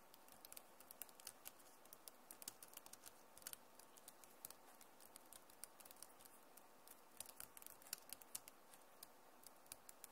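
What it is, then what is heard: Plastic laptop keyboard. Long nails type fast on the keys of a backlit plastic laptop keyboard. Many quick, bright clicks and taps scatter irregularly over a steady low hiss, each dying away almost instantly.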